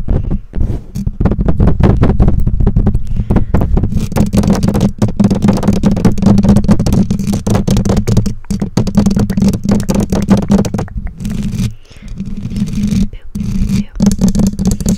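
Long nails on both hands scratch and tap the bare black metal mesh grille of a condenser microphone, over its hollow capsule housing. The result is a dense, continuous stream of boomy, low-heavy scratching and rapid tapping with a steady low drone underneath. A few brief near-silent gaps break it up.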